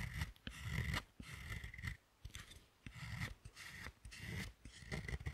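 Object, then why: Dark chocolate bar scraped with a thin metal tool. A thin metal carving tool with a wooden handle scrapes across the surface of a large solid dark chocolate bar resting on a second bar, raising chocolate shavings. Repeated short scraping strokes sound in bursts with a low rumbling body and a bright, gritty rasp, separated by brief quiet gaps.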